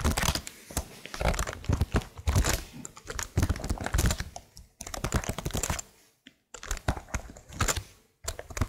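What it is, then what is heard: Plastic laptop keyboard being typed on. Long nails and fingertips quickly tap and press the keys of a plastic laptop keyboard with stickered keycaps. Dense runs of short, clicky, bright taps with a soft low thump behind them decay fast, broken by a few brief pauses.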